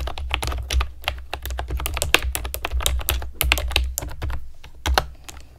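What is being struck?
Plastic keyboard with round keycaps.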